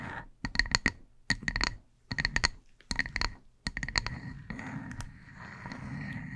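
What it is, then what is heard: Wood slice coaster. Long acrylic nails on both hands tap and scratch a solid, palm-sized, flat round slice of light-coloured wood used as a coaster, held over a fluffy microphone. Quick clusters of crisp, clicky nail taps with a faint bright ring come in irregular bursts. Then they give way, after about four seconds, to a steady, rough scratching hiss.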